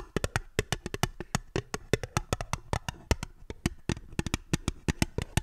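An empty, small, hollow, fluted aluminium tin with ribbed sides, held upside down, is tapped with long fingernails in a quick, uneven rhythm of 34 distinct taps. Each tap is a short, dry click with a hollow, low-weighted body around 418 Hz and a bright tip. It dies away almost instantly with no ring.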